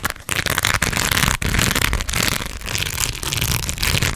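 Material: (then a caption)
Plastic beads. A hollow fabric baseball cap covered in small pearl and rhinestone beads is held up close and scratched and tapped with long red acrylic nails. It gives a dense, continuous crackling clatter of beads, bright and busy across the highs, with some low rumble underneath and only brief dips in level.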